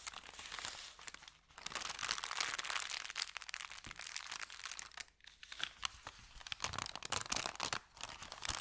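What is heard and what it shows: Hands fold an empty, thin brown kraft paper bakery bag in half and press it, crinkling the paper. The sound is a dense, bright crackle of dry rustles and sharp crinkles, with brief pauses around one and a half, five, and almost eight seconds before the crumpling resumes.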